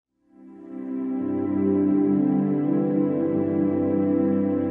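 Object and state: Nothing is struck.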